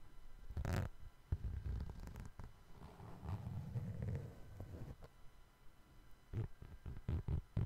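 Fingertips tap and scratch the side of the suede upper of a brown suede sneaker, which is held sideways with its white rubber sole showing. The sound is quiet, low and dull, with soft scratching in the middle and sharper taps clustered toward the end.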